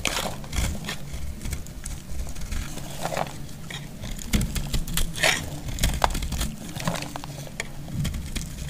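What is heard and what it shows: A metal utility blade cuts into a solid, dry purple bar of soap, breaking off thick chips. Crisp, dry crackling snaps and crunches repeat throughout over a low, dull scraping rumble, with short bright clicks as pieces break away.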